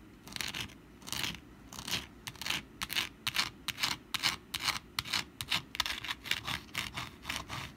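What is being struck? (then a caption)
Papier-mache pumpkin decoration. Long black nails scratch and tap the textured surface of a rust-brown papier-mache pumpkin decoration held in both hands. The result is a series of short, dry, bright scratching bursts at an uneven pace, each dying away almost instantly. A faint low rumble sits underneath throughout.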